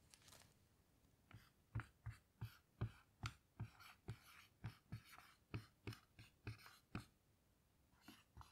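A hand writes words with a black dry-erase marker on a small, flat whiteboard with a plastic frame and a grid-textured surface, lying on a table. The marker tip glides and scratches across the board in a quiet run of short, separate strokes. Each stroke pairs a soft low tap with a bright, dry scratch that dies away almost at once.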